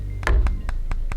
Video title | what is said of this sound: Oneplus Nord Vs Poco F2 Pro - An In-depth Comparison (Timestamps in description) | it sounds plastic but when you hold in your hand it feels really solid and it feels thin